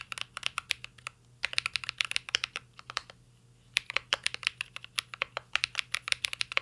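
Fingertips of both hands type on a full-size CYBERBOARD R3 mechanical keyboard with an aluminum case, plastic keycaps and Holy Panda switches. Bursts of rapid, bright, clicky keystrokes come in quick runs, separated by two short pauses. Each tap is sharp and dies away almost instantly over a faint low hum.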